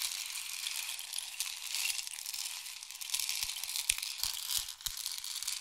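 A long, hollow, painted wooden or bamboo rain stick is tilted diagonally so its internal filling pours through it. It makes a steady, bright, hissing rattle of tiny patters that swells and fades slightly, with a few faint low taps near the end.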